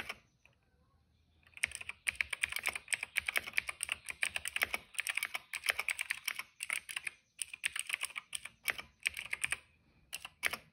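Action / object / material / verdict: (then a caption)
tap / plastic mechanical keyboard being typed on / plastic / none. Fingertips type on a cream plastic retro mechanical keyboard with plastic keycaps and a hollow case. After a quiet start, rapid runs of bright, clacky keystrokes centered around 2.3 kHz fill the clip, with brief pauses near seven and ten seconds. The clip ends with a final few taps.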